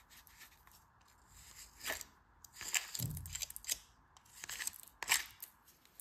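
A craft knife blade scrapes and cuts across packed grey kinetic sand, a dense, moist solid mass filling a green plastic flower-shaped mold held in a palm with red-painted nails. Bright, crisp scraping and crunchy slicing sounds come in short bursts, with a soft low thud in the middle. The quiet background carries a faint high hiss.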